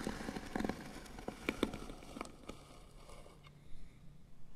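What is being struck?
Small painted wooden box lid.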